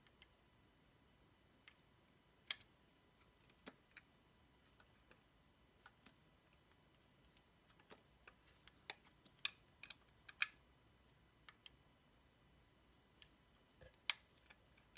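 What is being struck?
Solid bar of soap.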